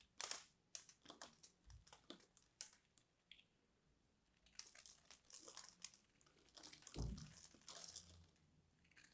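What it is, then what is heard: Bar soap being scraped into flakes. A hand-sized solid purple bar soap, held in one hand, has its carved face scraped and cut into crumbly flakes with a small metal blade. The clip is full of quiet, bright scratching and crumbly crunching bursts with short pauses between strokes, plus a couple of soft low thumps.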